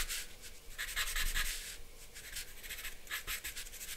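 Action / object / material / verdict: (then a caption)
scrape / charcoal stick on drawing paper over a board / paper / none. A hand scratches and rubs a black charcoal stick across a thin, solid sheet of white drawing paper bearing a charcoal portrait, laid flat on a dark backing board on a wooden table. Bright, dry scratching strokes come in repeated bursts throughout over a faint low rumble, with short swells of louder rubbing.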